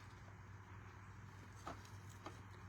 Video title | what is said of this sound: 1/14 what’s new 49 and Market and Uniquely Creative - Creative Kit Club | I keep knocking on it so you can hear how thick it is